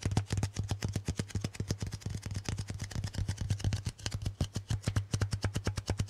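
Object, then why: Adhesive paper lint roller. Fingertips tap quickly on the sticky surface of a handheld lint roller, a white adhesive paper roll with a hollow core on a grey plastic handle, held close. Dozens of short, soft, sticky taps come in a steady rapid run, each a low, hollow thump with a faint, bright crackle that dies away almost at once.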